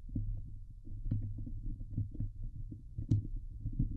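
Fingernails of both hands scratch fast across the hollow steel wire-mesh dome grille of a Blue Yeti microphone. The result is a dense, boomy stream of low thumps and rumbling scrapes with a steady hum near 105 Hz, with a few brief brighter scratches cutting through.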